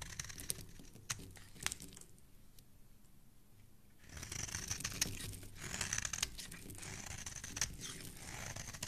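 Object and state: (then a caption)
Bar of soap being shaved. A metal blade scrapes and shaves the surface and edge of a hand-sized, solid pink bar of soap, held by fingers with dark painted nails, into curly flakes. Bright, crisp crackling scrapes and sharp little ticks come in quick, uneven strokes. They fade to a quiet lull in the middle before denser, louder shaving resumes to the end.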